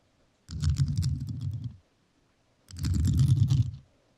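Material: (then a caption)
Rhinestone. A microphone covered in rhinestones is tapped and scratched with metal nails in two sustained bursts of rapid, gritty clicking. Each burst carries a deep, muffled rumble close to the mic with a thin, bright crackle on top, separated by a short silence.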